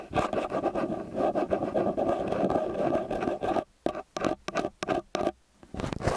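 Fingertips and nails tap and scratch the metal mesh capsules of a small X/Y stereo microphone with a metal body, then fingers scratch along the body. A dense, close-up scratching rustle with a warm midrange body runs steadily for about three and a half seconds. It then breaks into short separate scrapes and taps with near-silent gaps between them.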